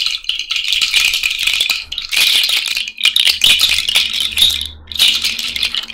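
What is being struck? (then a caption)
Cowrie shell bracelet. A cowrie shell bracelet, held up on the fingers, is shaken in bursts, giving a dense, bright clicking rattle with almost no low end. Brief near-silent gaps fall around 2, 3 and 4.8 seconds before the shells rattle again.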